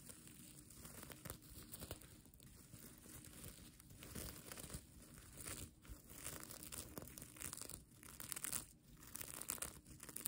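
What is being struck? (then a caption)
Plastic sequin fabric. Fingers and nails brush and scratch the plastic sequin fabric of a mermaid tail blanket. The result is a continuous, crinkly rustle with bright, hissy scratching that swells and fades in waves, with a few brief quieter dips in between.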